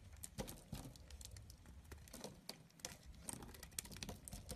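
A small knife blade shaves curls off the edge of a solid rectangular cream bar soap held in the palm. Quiet, crisp scraping and crumbly crackles repeat in quick bursts, with short bright ticks and a soft low rumble underneath.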